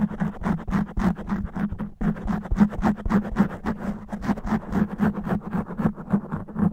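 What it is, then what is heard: Foam microphone windscreen being scratched. Long natural nails on one hand scratch fast and rough across a black foam microphone windscreen. The result is a dense run of quick, dry scratching strokes with a steady low hum around 207 Hz underneath. There is a brief pause near the two-second mark.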